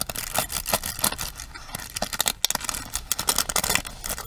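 Long nails rapidly tap and strum across the bristle pins of a pink plastic paddle hairbrush held upright. The result is a quick, uneven run of crisp plastic clicks and scratchy strums, bright and thin with little low end and almost no ring after each hit.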